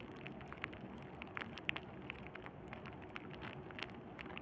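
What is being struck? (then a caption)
Plastic bubble wrap sheet. A sheet of clear plastic bubble wrap is held in both hands over burlap and squeezed and crinkled with thumbs and fingertips. A steady, quiet bed of crinkling runs throughout, scattered with short, sharp, bright pops and ticks that stop instantly with no ring.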